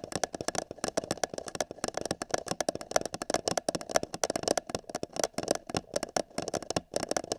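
Fingertips and nails tap rapidly and irregularly on the top of an empty, hollow printed paper cup held over a binaural microphone ear. Each tap is a short, dry, hollow knock with a resonant tone around 650 Hz and a bright clicky edge from the nails. The taps die away almost instantly.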